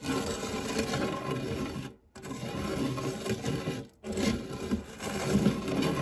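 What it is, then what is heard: Metal tart tin scraped with a spatula. The tip and edge of a silicone spatula scrape and rub the dark, textured nonstick base of a shallow, round, fluted metal tart tin that is empty apart from crumbs. A steady, gritty scraping with a low hum near 200 Hz runs in three stretches, split by two brief pauses around the two- and four-second marks.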